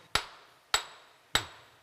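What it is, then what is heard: Hard, strong rock. A hammer strikes hard, strong rock in a mine three times, each blow giving a sharp, bright ringing crack that decays quickly, with the hammer bouncing back off the surface. The ring sits high, showing the rock is hard and strong, and the difference in sound reflects the rock's strength and so a different mineral composition.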